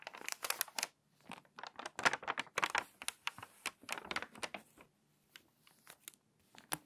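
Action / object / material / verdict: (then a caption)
scrape / glossy paper magazine pages / glossy paper / none. Long-nailed fingertips rub and scratch the pages of an open, crinkly glossy paper magazine lying flat; a page is turned and the spine is creased. Quick, dry bursts of crinkling and scratching come in a busy run and then thin out into sparser rustles. The sound is bright, with almost no low end and no ring after each burst.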